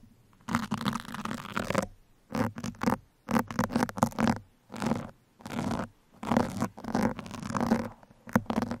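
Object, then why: Foam microphone windscreen scratched with metal pins. Two metal pins scratch at the sides and top of a black foam microphone windscreen, producing repeated bursts of dense, rough scratching and rustling separated by short silences. The bursts are broadband and crackly, with a steady low hum around 230 Hz running beneath them.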